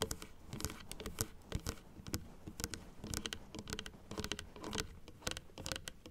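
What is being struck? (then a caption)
Plastic dental teeth model. Long acrylic nails tap rapidly on the white plastic teeth of a large plastic dental model resting on a table. The result is a quick, uneven patter of short, dry clicks that stop dead with no ring. Each click is bright on top with a soft, low knock underneath.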